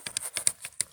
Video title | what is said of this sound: Pinus radiata forestry pruning (parts, tools and maintenance) | Hear that movement in there? That's me shaking it. That's a bit loose. It's a bit too loose.